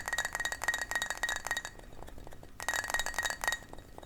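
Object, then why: Small glass shot glass. A small glass shot glass is tapped repeatedly, giving quick, ringing, chime-like clinks with a steady tone near 1.9 kHz and bright overtones. The taps come in two rapid bursts, separated by a quieter pause of about a second.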